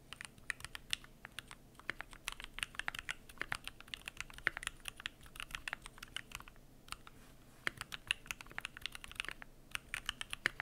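Fingertips type continuously on the PBT plastic keycaps of an aluminum Keychron Q1 mechanical keyboard. The result is a rapid, steady stream of short, crisp clicks and clacks with a bright, high sheen, very little low end, and almost no ring after each keystroke.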